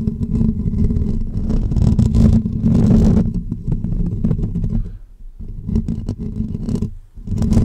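Short natural fingernails scratch the hollow woven metal mesh grille of a pink condenser microphone, with the fingers wrapped around the dome. The result is dense, close, rumbling scratches, heavy and low with some brighter scraping on top. The scratching eases briefly around the fifth and seventh seconds, then picks up again.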